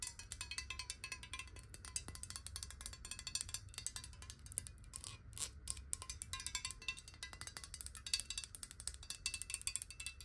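Long nails tap rapidly on the sides and base of a clear glass bottle holding water, first upright and then tilted. It makes a dense stream of quiet, bright, clicky ticks that die away almost at once, with a faint ringing tone beneath a low background rumble.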